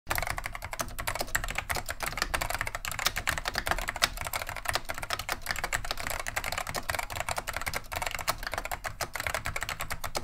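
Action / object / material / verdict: tap / plastic mechanical keyboard / plastic / none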